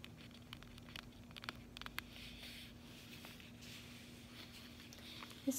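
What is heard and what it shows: Long acrylic fingernails rapidly tap a closed, flat cardboard chocolate bar sleeve lying on a table. They make quiet, bright, dry clicks that die away almost at once. A steady low hum runs underneath, and one louder tap lands at the very end.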